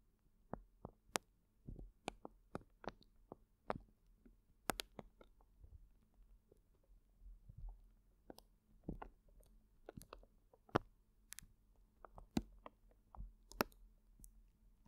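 A large clear plastic zip bag full of colorful gel water beads is held in both hands and squeezed and kneaded, so the beads shift and squish inside. Quiet, soft squelches and crisp plastic clicks come in irregular bursts over a low, steady background rumble. Each sound is short and dry with no ring.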